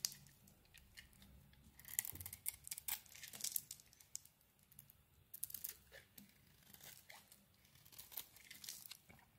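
A knife blade shaves the coating off a solid oval soap bar, dark purple outside and green inside, held in the hand. Quiet, bright, crisp scraping and crunching strokes come in short, irregular bursts with faint rustling between them.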